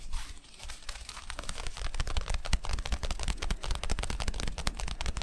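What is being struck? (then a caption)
Cotton t-shirt with screen-printed graphic. Fingertips and short nails scratch and rub across the red rose and skull screen print on a black cotton t-shirt worn on the body. The result is a dense, uneven run of fast, dry crackling scratches with sharp bright clicks over a low, muffled rumble.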